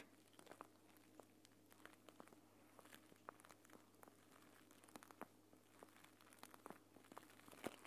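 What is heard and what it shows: A green plastic eye mask pouch filled with gel beads is held in the hands above the recorder, squeezed and scratched with nails and fingertips. Quiet, dense crinkling and crackling comes through as many short, sharp clicks and bright ticks over a steady low hum.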